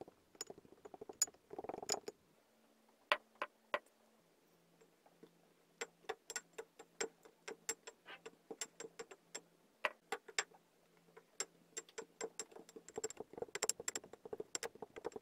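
A pink wooden muddler tamps down layers of black and white kinetic sand in a clear glass tumbler. It makes a rapid, irregular series of short, sharp, bright ticks and taps over a faint steady low hum, with a denser muffled squish near the start.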